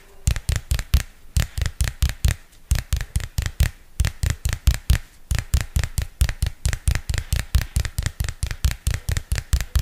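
A small purple spiral-bound paper notebook with a glossy card cover is held flat in front of the mic and tapped and scratched on its textured cover with long fingernails. About 40 quick, dry taps come in uneven bursts with brief pauses, each a deep thump topped by a short bright click that dies away almost at once.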